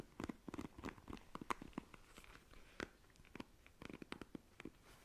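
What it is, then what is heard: Plastic paddle hairbrush. A black plastic paddle hairbrush is held by the handle while long nails scratch and run across its plastic bristles. The result is a quiet, dry run of rapid, crisp clicks and crackles with bright edges, in bursts separated by short pauses.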